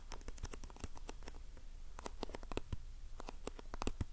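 A small printed cardboard box of facial sheet masks, held in the hand, is scratched and tapped with long painted nails. Quiet, dry scratching and quick short taps come in a busy, uneven stream, with a soft low thud under brief bright clicks. Each sound dies away almost instantly.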